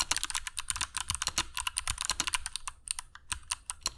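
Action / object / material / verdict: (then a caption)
tap / mechanical keyboard with plastic keycaps / plastic / none. Fingertips of both hands type continuously on a compact black mechanical keyboard with dark PBT plastic keycaps and Kailh Box Jade switches, resting on a cork desk mat. A rapid, steady stream of sharp, bright clicks rings out, each one dying almost instantly over a soft low thud of the keys bottoming out.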